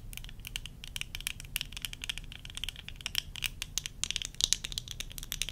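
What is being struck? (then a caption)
Plastic eyeglass frames. Long nails rapidly tap and scratch the rims and temple arms of worn tortoiseshell plastic eyeglasses, making a dense run of quick, bright clicks. Scratchy rasps sit over a faint low hum throughout.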